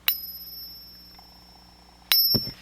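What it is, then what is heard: Silver dollar coin rings true. A Peace dollar or Canadian silver dollar is pinged twice as a reference silver coin in a ping test for silver. Each strike gives a clear, high, bell-like ring that sustains briefly before fading, with a dull low knock just after the second ping. The ringing tone marks the genuine silver coin.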